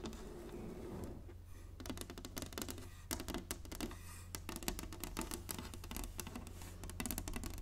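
Long nails tap on the surface of a large, flat, inlaid wooden chessboard, making quick, dry clicks in irregular bursts. The clicks are bright and stop short with almost no ring, over a steady low hum that runs through the whole clip.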